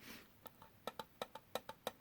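A small decorative metal tea tin with a sugar cookie design, which came with a tea purchase and is meant for holding tea packets, is tapped with light fingertip-style taps. There are nine quick, bright, hollow metallic taps with a short ring centered around 500 Hz, the later ones coming in an alternating stronger-weaker pattern.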